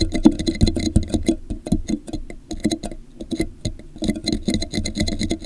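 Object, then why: Plastic drinking cup. Fingertips tap the base and sides of an empty, hollow, translucent plastic drinking cup with a popsicle print, held upside down over a microphone. The result is a quick run of dull, hollow, boomy taps with very short ring, steady through the clip with a brief quieter stretch near the middle.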